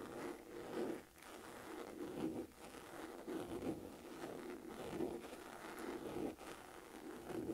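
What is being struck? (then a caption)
Textured leather handbag. Long nails scratch and tap the pebbled surface of a medium-sized, hollow black saffiano leather crossbody purse. Dry, raspy scratching rises and falls in repeated swells with a faint hollow resonance, broken by short pauses.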